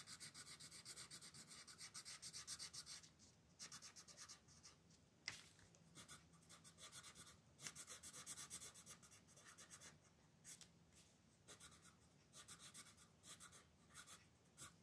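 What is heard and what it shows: A red wooden colored pencil is rubbed in short strokes across a thin paper coloring book page, a solid sheet lying flat on a wooden table while the other hand holds the page. The result is a quiet, bright, scratchy rasp in quick bursts of strokes, broken by brief pauses and a couple of sharper taps.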